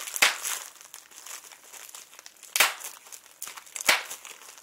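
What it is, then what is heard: Plastic bubble wrap. A large clear plastic bubble wrap sheet with air-filled bubbles is held up and crinkled and squeezed between fingertips and short nails. A steady, bright crackling crinkle runs throughout, with three sharp, louder bursts standing out clearly from it.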